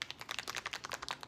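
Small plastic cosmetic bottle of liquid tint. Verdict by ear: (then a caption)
Runny. A pebble-shaped plastic bottle of liquid skin tint, with no pump, is shaken quickly. Its contents slosh in a rapid run of short, bright, clicky splashes. The sound shows the tint is a thin, watery liquid.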